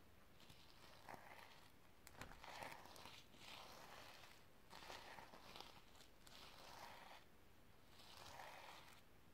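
Long red-painted nails and fingertips brush and scratch across a flat, rectangular notebook or pouch held in the hand and covered in reversible iridescent plastic sequins, flipping them over. The result is a quiet, steady series of soft swelling swishes with a bright, crinkly rattle of sequins and a few sharper ticks.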